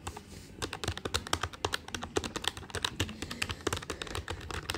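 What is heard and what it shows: Fingertips tap quickly on the plastic keys of a black plastic desktop calculator with a hollow body. The result is a fast, uneven run of short, dry clicks with bright, clacky tops and a light hollow thump underneath. Each click stops almost instantly.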